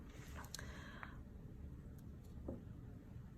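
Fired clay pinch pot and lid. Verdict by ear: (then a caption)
Hard. Quiet room sound with a low rumble and a few faint, short clicks and light taps, the clearest near the middle and end, possibly from bisqueware pieces, a pinch pot and a lid of clay fired once in the kiln, being tapped together or on a table. The pieces are meant to sound hard, almost as solid as a rock, though the taps are soft and hard to pick out.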